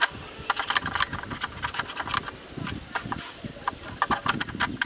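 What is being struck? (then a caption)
Plastic camera lens hood scraped with a wooden stick. A bamboo stick scratches and rubs inside a black, rectangular, hollow plastic camera lens hood with a ribbed inner wall. It produces a quick, uneven series of dry, bright rasps and ticks as the stick drags across the ribs, with soft rubbing between the strokes. Each scrape stops short with no ring.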